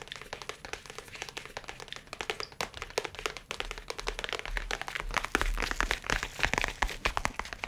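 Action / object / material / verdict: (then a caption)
tap / leather-covered tablet folio case / leather / none. A dark brown, leather-covered, rigid folio case about the size of a book, holding a tablet, is held up and tapped with fingernails and fingertips. Quick, dense taps produce sharp, bright clicks with very short decay. Partway through, the taps grow louder and gain a fuller low thump.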